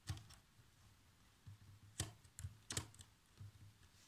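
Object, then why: Plastic laptop chiclet keyboard. Fingertips with short nails type across the keys of a black plastic chiclet laptop keyboard, producing seven quiet, separate taps. Each tap has a dull low thump with a short bright click that dies away almost at once.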